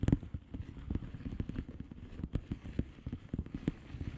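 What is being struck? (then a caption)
Plastic bubble wrap envelope. Long painted fingernails of both hands tap and scratch across a flat blue plastic bubble wrap envelope with air-filled bubbles, lying on a surface. Quick, soft, dull taps land in an irregular, steady patter, low and muffled with almost no brightness, each dying away almost at once over a faint scratchy rustle.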